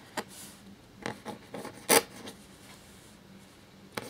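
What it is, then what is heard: Parchment paper scratched by a quill. A black feather quill nib scratches across a thin cream parchment-style paper sheet lying flat while writing. Short, bright, dry scratching strokes come in separate bursts, the loudest near the middle, over a faint steady low hum.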